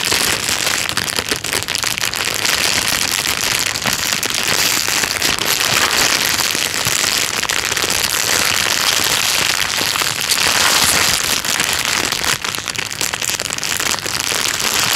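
A thin, clear plastic bag lies flat while fingertips tap and scratch across it. The result is a dense, steady crinkling and crackling for the whole clip, bright and hissy with almost no low end.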